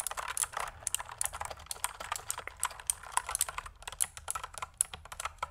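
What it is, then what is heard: Plastic mechanical keyboard. A pink full-size plastic mechanical keyboard with pink and white keycaps, a pink cable and a hollow body is held up close and typed on with long manicured nails and fingertips. Rapid, dense key presses and sharp clacks sound bright and dry, with almost no low end and each click dying away instantly.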